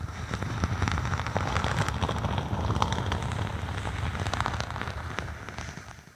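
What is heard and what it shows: A thin, flexible faux snakeskin vinyl sheet, draped over a binaural microphone with hollow space underneath, is scratched and tapped with long acrylic nails. Dense, irregular crackling taps and scratchy rustles ride over a heavy, muffled low thump, with bright clicks on top. The sound fades toward the end.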